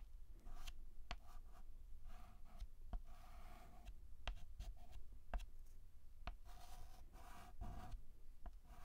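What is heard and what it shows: White chalk held in the fingertips scratches across a black chalkboard in repeated short hatching strokes. Each stroke is a dry, scratchy rasp with a mid-range tone, broken up by sharp, brief ticks as the chalk catches the surface. A steady low rumble runs underneath throughout.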